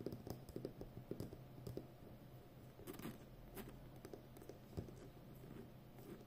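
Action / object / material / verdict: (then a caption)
tap / plastic packing tape roll on a cardboard core / plastic tape / none. Long painted nails tap and scratch the outer edge and surface of a full roll of brown plastic packing tape, about 5 cm wide, on a hollow cardboard core and held upright. Quiet, dull, low-heavy taps with a faint mid-range tone come in uneven bursts over a soft scratchy rustle, each tap dying away almost instantly.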